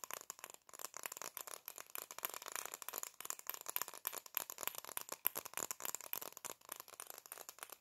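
Black plastic-framed sunglasses are held in both hands while fingertips and nails rapidly tap and scratch the frames and lenses, and the hinges rattle. The result is a dense, fast stream of quiet, bright clicks and scratches with no low end and almost no ring.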